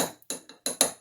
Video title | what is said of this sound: 2. Sorting Wheel Weights for Casting | they'll make a thud sound pretty often whenever you tap it against something else